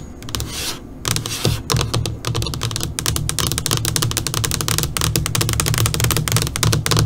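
Long nails on both hands, with fingers curled, tap across a flat black LCD computer monitor screen. The result is a rapid, uneven patter of bright, clicky taps over a low, dull thud, with a brief soft swish near the start.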